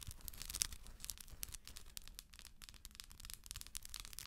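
Long acrylic nails tap and scratch the textured shell of a hollow, round, head-sized plastic moon lamp with a galaxy print, held in both hands. A quiet, steady stream of quick, bright clicks and crisp scratchy rasps rides over a soft low rumble, each tap dying away instantly.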